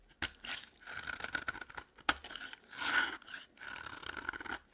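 A utility knife blade scrapes the edge of a dry green solid bar of soap into curls. It makes repeated dry, crunchy scraping strokes with a bright rasp and a few sharper clicks.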